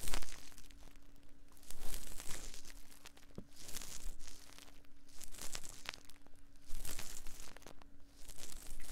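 Cotton swabs held in both hands rub and scratch inside the ear canals of the soft silicone ear molds on a binaural 3Dio microphone. Close, crinkly scraping comes in repeating waves of louder bursts with brief quieter gaps, over a faint steady low hum.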